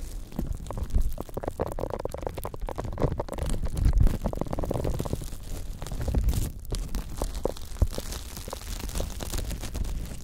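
A large pink silicone scrubber pad with bristle nubs is draped over the microphones, and its bristle edge is scratched and rubbed with the fingertips of both hands. This produces a steady, dense stream of soft scratchy crackles over a heavy, muffled low rumble, with a few louder thumps scattered throughout.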